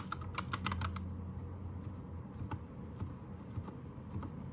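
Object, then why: Plastic mechanical keyboard keys. Fingertips of both hands type on a white 60% Anne Pro 2 mechanical keyboard with plastic keycaps and a pink/red backlight. A quick burst of sharp, clacky keystrokes fills the first second, followed by scattered single key taps. A steady low hum runs underneath throughout.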